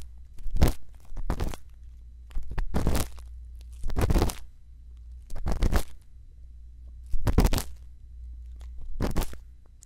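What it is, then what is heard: Silicone ear microphone scraped with an earpick. A thin bamboo earpick, held in the fingertips, scratches and scrapes inside the opening of a white silicone ear model mounted on a round binaural microphone housing. Seven irregularly spaced bursts of close, crackly scraping stand out over a steady low hum.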